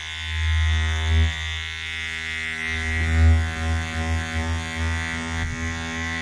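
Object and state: Nothing is struck.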